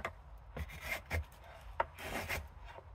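A solid green silver birch spoon blank, clamped in a wooden shaving horse, is shaved near the bowl with a steel drawknife in short pulling strokes. Each stroke makes a soft, breathy rasp and scrape with bright hiss, and one sharp click stands out midway. Curls of shavings lift off the wood.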